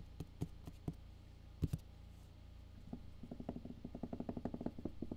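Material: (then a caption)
Cardboard. Fingertips tap the top and side of a closed, medium-size black printed Solid State Logic cardboard box. A few sparse, dull, hollow taps come first, then a quicker, steady run of short, low thumps that die away almost at once.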